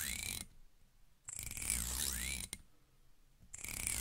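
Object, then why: Plastic comb. Long red-painted nails strum and flick along the long thin teeth of a small, solid, black plastic wide comb held in front of a wigged microphone. Bursts of bright, ratchet-like clicking rasp with a sweeping tone near 2 kHz, separated by quiet gaps.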